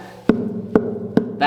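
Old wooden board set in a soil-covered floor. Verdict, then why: Hollow. Knocking on an old piece of wood uncovered in the soil of a WW2 bunker floor gives four hollow, woody thuds with a mid-low tone around 430 Hz and a very short ring, the last one brighter. The board sounds hollow compared with a nearby solid spot, suggesting a hidden door beneath.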